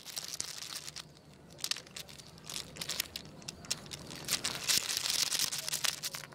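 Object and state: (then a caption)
Wooden segmented toy, segments clacking. A long, segmented wooden crocodile toy is wiggled by its head with the fingers on a tile floor, its solid wooden segments clacking together. The result is a rapid, irregular run of dry, bright clicks and rattles that swell and fade, with no ring after each tap.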